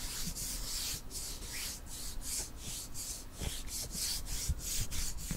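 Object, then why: Wooden ruler. A long, thin, solid wooden ruler held in both hands is rubbed and scratched along its length with fingernails. The result is a steady, breathy scraping hiss that rises and falls in repeated strokes, with faint low knocks beneath.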